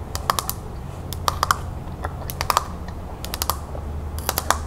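Long nails tap quickly on the flat back of a wooden hand mirror with a beige painted panel, lying face down on a table. Short, dry clicks come in quick clusters of several taps, with a mid-pitched knock around 1.2 kHz and bright edges that die away almost instantly. A steady low hum runs underneath throughout.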